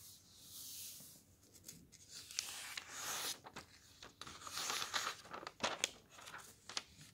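A flat hand rubs the thin printed pages of a thick softcover book lying open on a table, then fingertips lift, slide and flip the pages between the fingers. Soft, bright rustling swells are broken by crisp, high paper flicks as each page turns.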